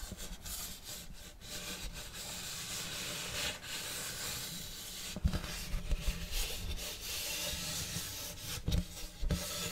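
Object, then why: Round wooden serving tray. Fingernails scratch slowly along the grain of a large, flat, round wooden serving tray with a checkerboard block pattern, solid and empty. The result is a steady, dry rasping with a bright hiss over a soft low rumble, broken by three sharper bumps near the end.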